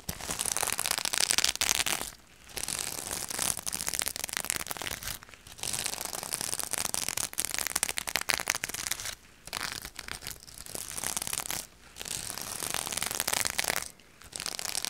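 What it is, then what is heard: Sequin fabric bag. A soft purple reversible sequin fabric bag, held up by the top, is scratched and brushed with long purple nails. This makes a dense, bright, crinkly rustling and scratching with almost no low end. The sound runs in steady bursts broken by a few short pauses.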